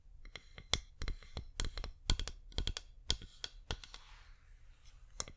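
A flameless wax pillar candle is turned in the hands and tapped with long nails, giving about 19 sharp, dry clicks at an irregular pace. Each tap is brief and bright with a low thud beneath it, and soft rustling and scratching fill the gaps between taps.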